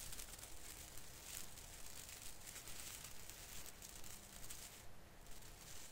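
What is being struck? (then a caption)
Artificial Christmas tree branch with plastic needles. Fingertips brush and pinch the thin plastic needle tips of an artificial fir Christmas tree branch, making a soft, steady rustling crinkle. The quiet, dense texture has bright hiss up high and a low rumble underneath, with brief swells along the way.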